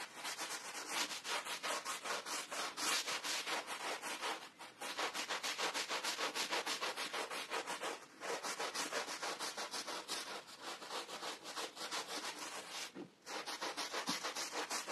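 A gloved hand scrubs a small, soaked and foamy red and beige patterned pile rug lying flat on the floor with a green handheld plastic bristle brush. The sound is steady, rapid, bright scratchy rubbing in quick back-and-forth strokes, with brief pauses between bursts.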